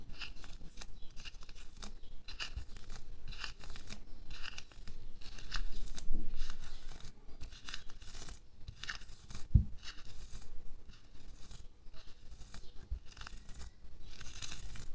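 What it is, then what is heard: Latex glove. Bare fingertips pinch, pull and rub the rubber at the back and wrist of a pink latex glove worn on a hand resting on a white table. The result is a steady, irregular run of soft, bright rubbery rustles, stretches and squeaks over a low rumble. One sharper snap stands out near the middle.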